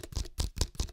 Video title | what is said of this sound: I Was Wrong About The Sony a7IV | how that sort of sounds (plastic tapping noises) like hollow and plasticky